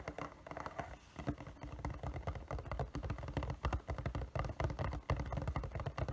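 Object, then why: Printed cardboard box. Fingertips and nails tap rapidly and irregularly on a hollow, printed cardboard figure box as it is turned from panel to panel. The taps sound dull, low and hollow, each dying away almost at once, in a steady patter of soft clicks and thumps.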